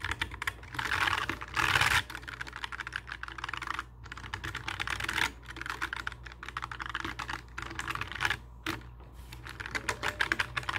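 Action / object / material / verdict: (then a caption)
tap / plastic mechanical keyboard / plastic / none. Fingertips type rapidly across a full-size black mechanical keyboard with plastic keycaps and a hollow case, sitting on a wooden desk. Dense, bright clacky taps run in bursts, loudest around one to two seconds and again near five seconds, with brief pauses in between. A steady low hum sits underneath.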